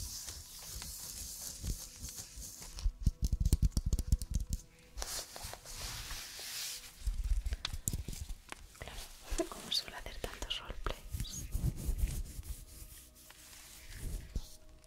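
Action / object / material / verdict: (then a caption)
scrape / stuffed fabric snowman ornament / fabric / none. Fingertips and nails rub and scratch the white fabric body of a medium-sized soft stuffed snowman ornament with a knitted red-and-white hat and scarf, held in the hands. The result is close, muffled rustling and scratchy friction, heavy in the low end with faint bright texture. The sound comes in uneven bursts that swell louder at moments and then ease off.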